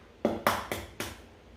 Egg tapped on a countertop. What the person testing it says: gently tap on the counter until you hear that crack sound